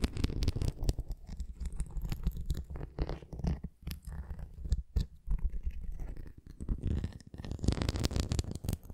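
Fingernails scratch along the edge of a red plastic flying ring toy with nubs, and the ring is then tilted toward the camera. The result is a dense, low, rumbling scratch with quick rough strokes that swell and fade, ending in a louder burst of scraping.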